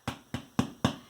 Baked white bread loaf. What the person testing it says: sounded like a little drum hollow sound that's what you want that's when you know it's done inside